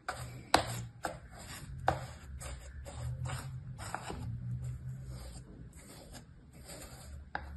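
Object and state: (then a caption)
Kinetic sand cut with a plastic tool. A small orange plastic cutting tool held in the fingers scrapes and cuts lines through compacted, solid brown kinetic sand in a shallow mint-green plastic tray. Soft, gritty scraping strokes repeat at an uneven pace, punctuated by a few sharp, brief crunchy cuts over a low, quiet rumble.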